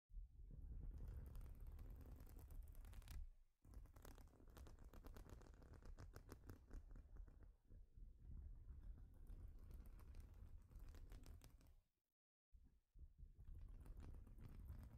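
Long pointed acrylic nails scratch across the studs of a flat, thin, solid plastic Lego baseplate lying on a table, using both hands, while knit sleeves also brush the plate. The result is a dense, rapid, irregular patter of scratching clicks with a heavy low rumble underneath. It breaks off briefly at about 3.5 seconds and falls silent around 12 seconds before resuming.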